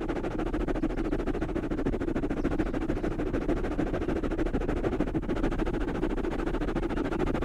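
Two black foam windscreens on stand-mounted microphones are scratched rapidly with fingertips and short nails, making a dense, continuous scratchy rustle. The texture is steady and fairly even, with its weight low around the midrange and lows and almost nothing bright. It carries on unchanged for the whole clip.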